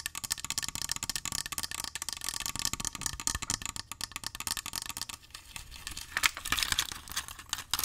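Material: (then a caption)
Glass. A small clear glass jar partly filled with coins is held in the hands and rapidly tapped and scratched with fingernails, producing a dense stream of sharp, bright clicks and ticks with a faint rattle of the coins inside. The taps ease into a softer scratching stretch just after the midpoint, then swell into a louder, brighter flurry near the end.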